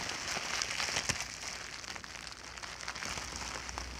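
A clear plastic bubble wrap sheet is bunched and squeezed between both hands and fingertips. It makes a steady, bright crinkling and crackling with small sharp snaps scattered throughout and very little low end.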